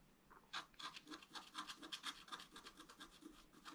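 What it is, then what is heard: Scratch art paper card. A wooden stylus scratches short lines into a flat black-coated scratch-art paper sheet, drawing a fountain. A rapid series of dry, bright scraping strokes comes in quick bursts with little low end, each stroke short and crisp.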